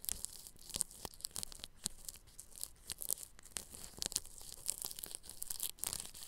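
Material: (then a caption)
Plastic film. A bristle paintbrush brushes across clear plastic cling film stretched over a round microphone grille. The strokes make dense, crinkly, scratchy rustling with a bright, hissy top and quick crackling peaks that rise and fall throughout.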